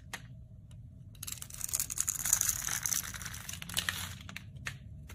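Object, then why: Bar of soap cut with a metal blade. A metal utility blade scrapes and cuts thin slivers from the edge of a solid, palm-sized, rectangular white bar of soap held in the hand. After a faint tick, a bright, dry crackling and crunching scrape builds and runs for about three seconds, then fades to a few sharp clicks near the end.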